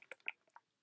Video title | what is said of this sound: June 2019 BoxyLuxe Un-Boxing - Try On Style! | when you shake it, it sounds really liquidy